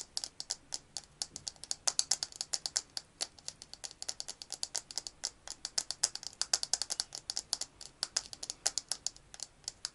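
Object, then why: Small glass perfume bottle with metal cap. A small square glass perfume bottle with a metal cap, partly filled with liquid, is held in both hands and tapped and scratched rapidly with fingertips and nails. Dozens of sharp, bright clicks and ticks come in a fast, uneven stream, each dying away almost at once. The sound sits almost entirely in the high range, with no low end.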